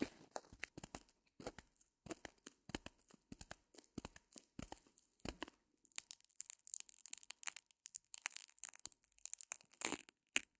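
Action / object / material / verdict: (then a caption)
scrape / porous foam block / foam / none. A small white porous foam block with a sparkly surface, held over a fur rug, is squeezed and scratched with long painted nails. Quiet, rapid crackling scrapes and tearing-like rasps come in dense bursts with no ring. They turn brighter and hissier in the second half.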